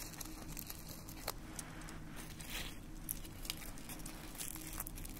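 Fingertips pick up dried red rose petals from a pile in a small white dish on a wooden stand and crumble the dry petals between the fingers. Soft, quiet crinkling and crackling with brief bright ticks sounds over a steady low hum.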